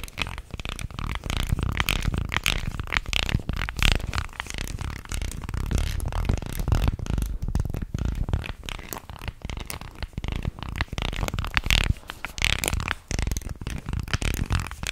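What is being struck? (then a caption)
Carved wooden fish guiro. A carved, solid-wood, fish-shaped guiro about a forearm long, with ridged grooves along its body, is held in one hand in front of a microphone and scraped along its ridges with a wooden stick or fingers. The result is a continuous stream of rapid, dry, ratcheting scrapes, heavy in low rumble with bright raspy edges. Each click dies away almost at once.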